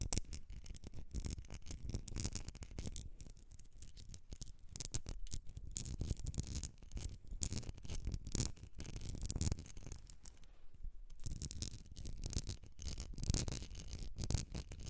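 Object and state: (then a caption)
Glass candle jar. Long acrylic nails scratch and tap the sides of a medium glass candle jar with an etched pattern and a metallic rim, filled with solid pale green wax, while it is held and tilted. A dense, continuous run of quick scratches and short clicking taps fills the clip, with low handling thumps underneath and bright, brief scraping on top.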